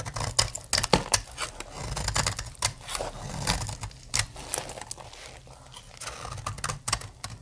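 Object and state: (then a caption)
Dry soap bar being carved. A snap-off blade carves crumbly dry shavings from the edge of a solid blue soap bar. It makes a quick run of short, crisp, bright scraping clicks and crackles over a soft low rumble, each cut dying away almost instantly.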